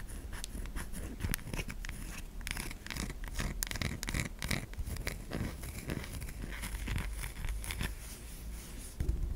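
A white solid bar of soap held in a palm has its curved top scraped by long nails, leaving soap flakes on the hand. The clip is a steady run of dense, dry scratching and scraping strokes, bright crisp rasps over a low, muffled rumble. The strokes run together too closely to count.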